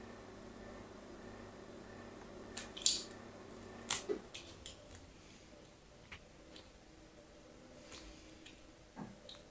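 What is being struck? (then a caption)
Bar soap scraped with a metal blade tip. A solid rectangular pink bar of soap, held in a hand with long painted nails, is scored and scratched with the thin tip of a metal blade. Several short, bright, crisp scraping clicks stand out over a faint low hum, loudest near the third and fourth seconds, with softer scrapes scattered toward the end.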